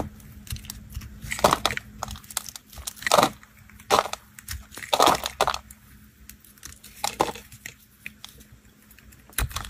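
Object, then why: Bar of soap cut with a knife. A knife blade cuts and scrapes pieces off a solid, dry, blue and white marbled bar of soap held in fingers over tiles. Crisp, crunchy scraping and cracking bursts come in uneven spurts, with several louder crumbling cuts standing out over quieter scratches and a faint steady low hum.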